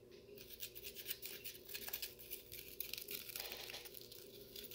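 Fingertips tap and scratch the side of a clear plastic McDonald's-style cup with a label, full of frozen cola slush and held in one hand. The result is a quiet, continuous run of bright, crinkly scratches and quick soft taps, with a faint steady low hum underneath.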